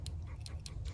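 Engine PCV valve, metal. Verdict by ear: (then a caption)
Clogged. An old PCV valve removed from the 3MZ-FE engine of a 2004–2007 Toyota Highlander is shaken, giving only a few faint, light ticks over a steady low hum. Heavy carbon and oil deposits inside have left the valve clogged and stuck, so hardly anything moves and the rattle is weak.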